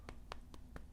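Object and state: Firm elastic makeup sponge puff.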